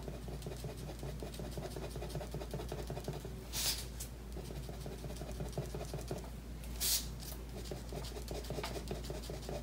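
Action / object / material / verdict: scrape / paper sheet scratched with a pen / paper / none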